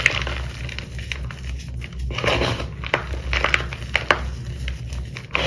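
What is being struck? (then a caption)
Gym chalk powder and chunks in a bowl. Both hands dig their fingertips into a heap of pale purple crushed dyed gym chalk (fine powder with small chunks) in a white bowl, rubbing and crushing the chunks into powder. There is a soft, dry crumbling rustle with sharp, bright crackles and crunchy snaps as chunks break, over a steady low hum.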